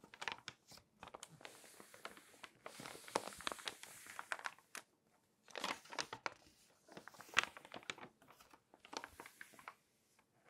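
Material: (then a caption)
Paper. A long-nailed hand rubs and scratches the spread pages of an open glossy paper magazine on a table with fingertips and nails, and turns its pages. Bright, crisp crinkling and scratchy rustling come in dense bursts of short, sharp clicks with almost no low end. Brief silent pauses occur just before 5 seconds and near the end.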